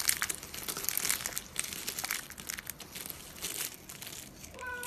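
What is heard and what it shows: A hand with long glossy nails grabs, squeezes and crumbles a pile of brittle pink, blue and green dry soap shavings on a countertop. It makes a dense, bright, dry crackling and crunching with many quick small snaps and almost no low end, and a short steady tone enters faintly at the very end.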